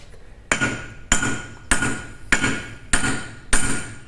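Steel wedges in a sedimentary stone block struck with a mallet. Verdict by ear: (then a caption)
Hollow. A mallet strikes steel wedges set in a sedimentary stone block to split it. Six evenly spaced hits ring out at about 100 per minute, each a sharp metallic clang with a ringing tone near 1.4 kHz that decays over roughly a quarter second. The strikes now sound hollow because the stone is cracking through, and the cut runs straight down one side.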